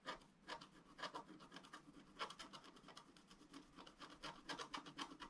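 A pointed wooden stylus scratches small strokes into a thin, black, wax-coated scratch-art paper sheet lying flat and solid on a table. The result is a quiet series of short, dry, bright scraping rasps in quick bursts, each stopping almost at once with no ring.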